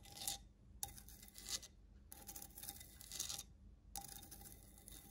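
Long nails scratch and tap the ribbed, rough glazed side of a medium grey stone-look ceramic planter, hollow and holding a plant. Bright, raspy scratching comes in repeated passes, each opening with a faint ringing tone from the pot, and short gaps between them.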